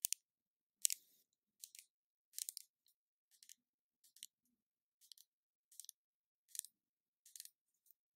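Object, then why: Small plastic spray bottle. Long nails tap and scratch the body of a small cylindrical plastic spray bottle with a turquoise label, held in the hand. The result is a quiet, irregular series of short, crisp, bright clicks and scrapes with no low end. Each sound dies away almost instantly.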